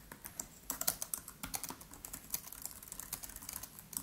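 Both hands type quickly with the fingertips on a MacBook Pro's built-in keyboard, black plastic keys set in an aluminium body. A steady, quiet stream of short, bright, clicky taps runs through the clip, each dying away almost at once, with little low end beneath them.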